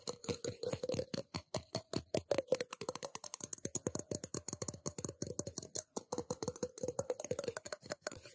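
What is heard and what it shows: Fingertips and nails tap quickly on the outer wall of a small, empty, hollow stainless steel cup held in one hand. About fifty short, dry taps come in a steady, fast rhythm, each carrying a faint metallic ring near 516 Hz with a bright click on top. The ring dies away almost at once between taps.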